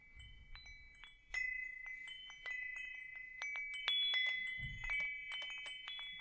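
A hanging wind chime with hollow metal tubes is held up and tapped with fingertips above the microphone. Bright, overlapping metallic tones ring out and sustain with a steady shimmering hum, with each new tap adding more chime. Soft low rumbles from handling come in briefly at the start and near the end.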